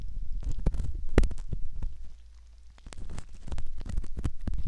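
A metal ear pick scrapes along the canal rim of a soft silicone ear model, making dense, muffled rustling and scratching with bursts of low, rumbling thumps. The sound is close and bass-heavy, with a brief quieter stretch in the middle before the scraping picks up again.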